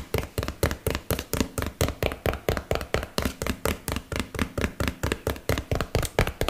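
A small, hollow yellow and blue printed cardboard box is held close to the mic and tapped with fingernails and fingertips. About 29 quick, dry knocks come in a loose, steady rhythm of roughly two per second. Each has a dull low thump and a short papery click that dies away almost at once.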